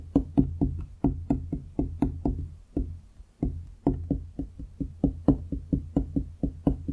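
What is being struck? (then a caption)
Wooden desk top. Fingertips and nails of both hands tap on a large solid wooden desk top, giving 24 short, dry knocks with a hollow woody tone in an uneven rhythm. Each tap dies away almost at once over a steady low hum.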